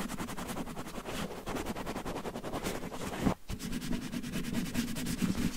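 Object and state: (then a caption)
Cotton terry towel scratched over a microphone. Fingertips and short nails scratch and massage a red cotton terry towel draped over a microphone. The result is a steady, muffled, low-heavy rubbing and scratching texture with quick repeated strokes and a brief break about three-quarters of the way through before it resumes.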